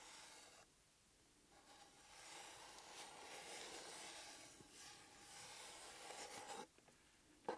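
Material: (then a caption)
Cardboard. Fingertips lightly scratch and rub the top of a small, flat, closed, hollow EMTEC cardboard box covered in blue paper, held in one hand. A soft, bright, hissy scraping rises and falls in waves, with a quiet gap early on and another near the end. The clip closes with one short, sharp tick.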